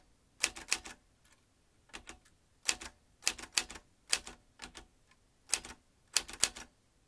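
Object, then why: Metal manual typewriter. Fingertips of both hands type on the round keys of a vintage metal manual typewriter, its typebars striking in quick bursts. Sharp, bright metallic clacks come in irregular clusters with short pauses between, each dying away almost instantly with no low-end thump.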